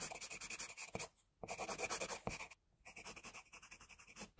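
A pencil rapidly scratches across a flat white drawing sheet, sketching the ear and side of a head in quick, bright, rasping strokes. The scratching comes in dense bursts separated by two brief pauses, with a few sharper taps as the pencil lands on the paper.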